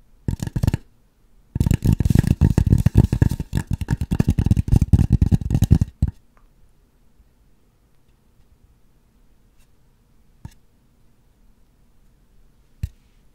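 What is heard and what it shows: Long acrylic nails tap and click on the surface of a white polystyrene foam mannequin head in soft, muffled, low bursts: a short flurry, a pause, then several seconds of fast, uneven tapping. It stops abruptly, leaving near-silence broken by two single, isolated taps.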